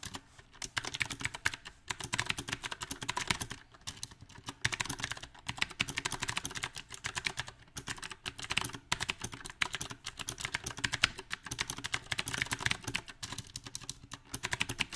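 A compact backlit mechanical keyboard with round plastic typewriter-style keycaps is typed on quickly with the fingertips, producing dense, bright, clicky key taps. The taps come in irregular bursts with brief pauses, and each click dies away almost instantly.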